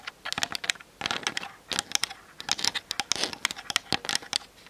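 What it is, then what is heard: Plastic camera body. Long nails tap quickly on the top and grip sides of a plastic-bodied Canon DSLR camera mounted on a tripod. The result is a rapid run of sharp, dry clicks and taps, bright and crisp with almost no low end, each tap dying away almost instantly.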